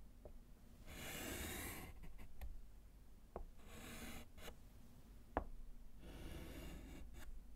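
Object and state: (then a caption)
Chalk writing on a slate chalkboard. A gloved hand writes letters on a small, flat, solid wood-framed slate chalkboard with a short piece of orange chalk. Three longer bright, rasping scratches drag across the slate, with short dry taps and ticks of the chalk in between. A low steady hum sits underneath throughout.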